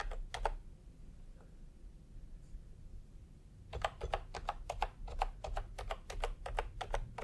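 Fingertips type on a full-size plastic retro computer keyboard with round pastel typewriter-style keycaps and a hollow body, resting on a white cloth. Two quick clacks sound at the start, a pause with a low background hum follows, then a steady run of sharp, bright, hollow-sounding keystrokes continues to the end.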